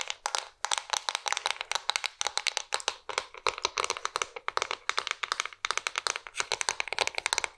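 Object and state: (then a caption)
Wooden cigar box. A flat, hollow wooden Oliva cigar box with a bare wood back and lacquered front is held close and scratched and tapped with long nails. The result is a steady stream of fast, dry, bright clicks and scratches with almost no ring and no low end.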